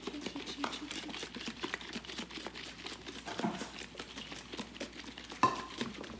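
A plastic container of cream is shaken to turn it into butter; it replaced an earlier container that wasn't working well, since plastic usually works better. A steady, rapid run of soft sloshing thumps and rattles is heard, with one sharper bright click near the end. The cream becomes butter with liquid buttermilk, which is poured off.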